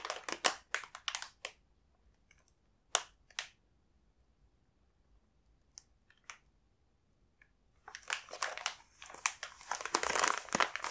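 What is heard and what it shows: A large, full coconut sablé multipack in a glossy, foil-lined plastic biscuit wrapper is held in both hands, turned over and flexed so the wrapper crinkles under the fingertips. Bright, crisp crinkling comes in quick bursts at the start, thins to a few sharp crackles through a quiet middle stretch, then returns as dense, continuous crinkling over the last few seconds.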